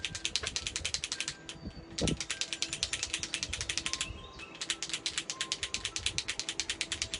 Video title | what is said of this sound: Wed 08/11/21 Teaching Adult Coloring With ILene Vick Tropical World Millie Marotta FANTASIA | shake it until i hear it click